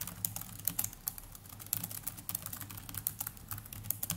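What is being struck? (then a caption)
Plastic laptop keyboard. Fingertips of both hands type continuously on the plastic chiclet keys of a small black netbook's black plastic laptop keyboard. The result is a quick, uneven stream of light, bright, dry clicks that stop almost instantly, over a steady low hum.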